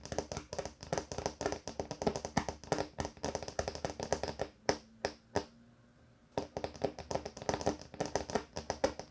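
Fingers tap rapidly on a wooden table top, making dense, short, dry knocks with a woody midrange tone. The tapping pauses briefly for a few isolated knocks and a quiet stretch, then resumes at the same quick pace.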